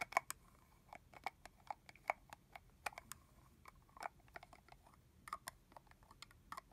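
Long fingernails tap and scratch a clear red plastic body mist bottle, capped and holding liquid, on its body and on the cap top. About two dozen quiet, sharp, clicky taps land at an irregular pace, each centered near 1 kHz with bright, crisp tops. Every tap stops dead with no ring.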